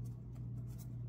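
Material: Nothing is struck.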